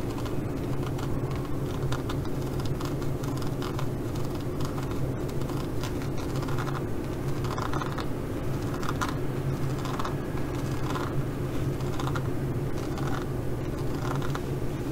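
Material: Faux leather.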